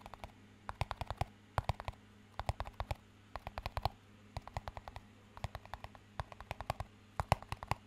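A small, empty clear plastic cup with a green band is held high and tapped with fingertips in quick bursts of light, dry taps, about fifty in all. Each tap is short and hollow with almost no ring, heard over a low, steady hum.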